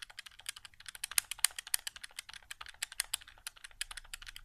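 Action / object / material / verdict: tap / plastic game controller / plastic / none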